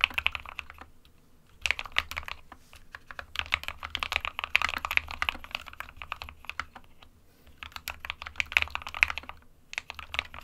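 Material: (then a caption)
Plastic. A compact 60% plastic mechanical keyboard with white and grey keycaps is typed on with the fingertips of both hands. Bursts of quick, bright clacking keystrokes come in flurries separated by short pauses, with a faint low hum underneath.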